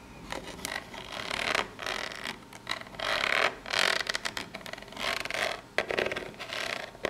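Long pink nails scratch the face and sides of a small corrugated cardboard box held up close. The result is a series of dry, bright scratching strokes that swell and fade, with almost no low end.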